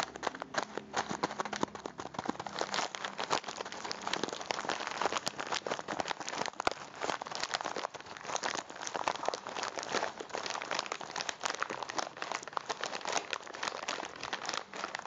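A small plastic bag full of popcorn kernels is held upright while fingertips squeeze and rub it. The plastic gives off a steady stream of dense, bright crinkling and crackling with many sharp little snaps and no low rumble. It goes on without a break for the whole fifteen seconds.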